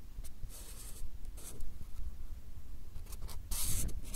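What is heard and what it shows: A marker pen draws short, scratchy hatching strokes across a stack of small white paper cards held in the hand close to the microphones. Brief bright, papery scratches come in bursts over a steady low rumble, with the longest and loudest run of strokes near the end.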